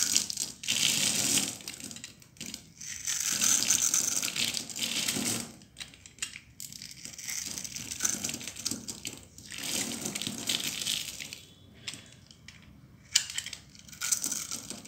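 A solid, dry blue bar of soap held in the palm is shaved and cut with a metal utility knife blade, and fine crumbs fall away. Bursts of bright, dry crunching and scraping come in uneven strokes, separated by brief quiet gaps.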